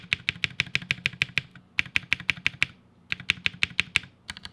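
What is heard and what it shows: A single fingertip repeatedly taps the long spacebar and stabilized modifier keys of a 60% mechanical keyboard with a black case and plastic keycaps, lying on a white desk. About 26 sharp, bright clacks come in three quick bursts separated by short pauses, each click dying out almost instantly over a faint low hum.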